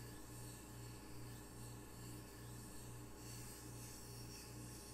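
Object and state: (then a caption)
Ceramic tile coaster being rubbed. A small, solid square ceramic tile coaster with red octopus art is held in one hand while fingertips rub its glazed face. The result is a quiet, steady rubbing sound with a low hum around 117 Hz, repeating strokes about every half second, and a faint bright hiss over the top.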